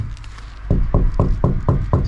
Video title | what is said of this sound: La coibentazione termica e acustica - Van Conversion DIY - Camperizzazione Fai da te Fiat Ducato | the noise here it sounds empty